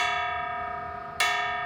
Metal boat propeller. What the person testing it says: You hear that nice ring? So that means that you know generally everything's fine.